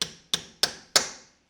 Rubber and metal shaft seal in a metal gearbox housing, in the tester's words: that's how you know that the seal is in flush. See how it's all solid now